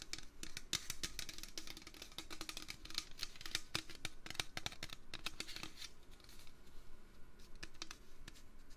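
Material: Metal.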